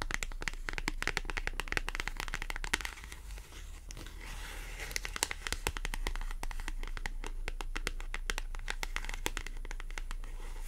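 A small, thin white paper clothing price tag with a barcode is held in the fingers while long acrylic nails scratch and tap across its surface. The result is a dense, irregular stream of quick, dry, bright clicks and crinkly scratches over a steady low hum, with a slightly quieter stretch around the third second.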